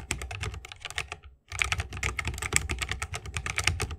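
Fingertips of both hands type continuously on a 60% mechanical keyboard with plastic keycaps and Holy Panda tactile switches, set in a bamboo wooden case. Quick, bright, clacky keystrokes come in a dense stream over a soft low thump, with a brief silent pause near the middle before the rapid typing resumes.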